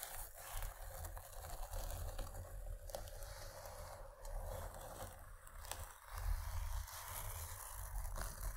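Long nails scratch the fabric side of a padded paisley cloth pencil case. The result is a quiet, steady scratching and rustling texture over a low, muffled rumble, with soft swells in level throughout.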